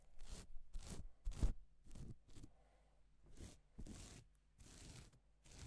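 A gloved hand strokes and rubs its fingers across reversible plastic flip-sequin fabric, making a series of short, dry, crackling swishes that reach up into bright high tones. The strokes come in separate bursts with brief quiet gaps, over a faint, steady low hum.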